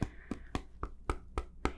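A hand gently knocks seven times on the hard, flat surface of a table. The dull, low knocks are evenly spaced and die away almost at once, with little high-frequency content.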